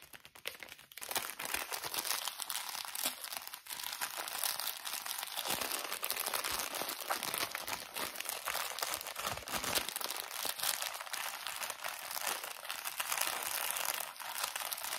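A small, thin plastic drawstring bag full of cotton pads is squeezed and crinkled with fingertips. A steady, dense crinkling and rustling runs through the clip, bright and hissy with almost no low end. It swells and eases slightly as the grip shifts, after a brief quieter start.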